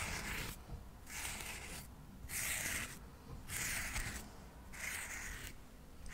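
Cotton swabs are scratched along the surface and edges of a solid stack of square cork coasters held in the hand. Repeated dry, brushy scratching strokes, bright and hissy with a strong upper-mid sheen, alternate with short quieter pauses at a slow, steady pace.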